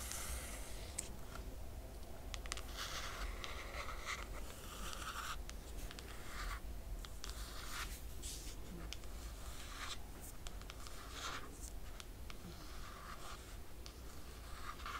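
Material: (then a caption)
Laminated cardboard. Long nails on both hands scratch the laminated cardboard cover of a closed hardcover book. Quiet, continuous scratching and scraping comes in bright, hissy bursts over a steady low rumble, with no distinct separate hits.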